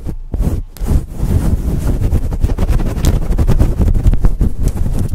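Fingertips and long nails scratch a fluffy faux fur windscreen on a microphone. The result is a loud, dense, low rumbling rustle with a brief dip near the start, then steady fast scratching.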